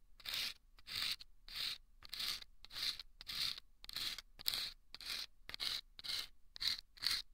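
A thin bamboo ear pick scrapes inside a small hollow paper tube, lined with sandpaper and taped, resting on the left microphone ear. About 13 short, gritty scraping strokes repeat at a steady pace, bright and hissy with almost no low end, each cut off quickly by a brief pause.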